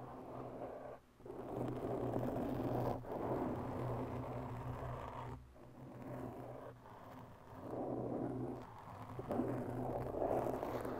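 Long bare nails on both hands slowly scratch a large black foam windscreen over a microphone. The sound is a dense, muffled, continuous scratching with a low hum underneath, swelling and dipping in waves with a few brief pauses. It stays dark and mid-heavy, with almost no bright content.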